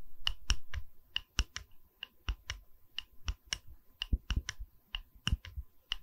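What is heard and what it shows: Fingers tap on a wooden pedestal, producing a string of short, dry clicks with very little ring, each one a brief knock with a bright click on top. Around twenty taps come at an uneven, unhurried pace in a quiet setting with no talking.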